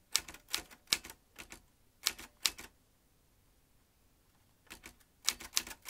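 Fingertips tap the round keys of a vintage metal manual typewriter. Sharp, bright clacks come in an uneven run, then a quiet pause of about two seconds, then another quick cluster of keystrokes. Each strike is dry and stops almost at once.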